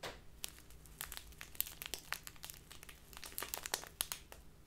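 A small crinkly plastic bag full of loose tea is crinkled and rubbed by fingertips and long nails. The sound is a steady stream of bright, sharp crackles and rustles with quick crisp snaps, mostly high in tone, and with no ringing after each one.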